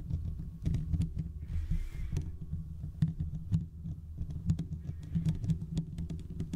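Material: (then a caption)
Steel mesh. Fingertips and short nails of both hands scratch the hollow, domed steel mesh grille of a large desktop condenser microphone. The result is a dense, continuous run of deep, rumbling scrapes and soft thumps that sit almost entirely in the low end, with a brief airy hiss partway through.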